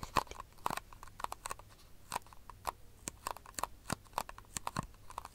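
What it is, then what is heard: Plastic cup tapped with fingernails. Long fingernails tap on a single empty, hollow white plastic cup turned upside down. A quick, irregular run of light, clicky taps gives a hollow tone around 1 kHz and bright ticks, with each hit dying away almost at once.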